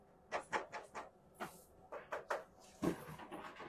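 A primitive painting on tin in a worn frame is tapped about ten times in irregular bursts, giving light, short, mid-pitched metallic knocks with little ring. The tapping shows the panel is tin rather than canvas and is done only because the painting is already in poor condition.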